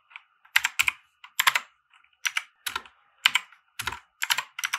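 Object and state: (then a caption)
Plastic mechanical keyboard being typed on. Fingertips of both hands type on a compact 60% mechanical keyboard with white plastic keycaps and RGB lighting, resting on a felt desk mat. Quick, bright plastic clacks come in short uneven bursts with brief pauses between them. Each keystroke is crisp and dry, with almost no low end and no lingering ring.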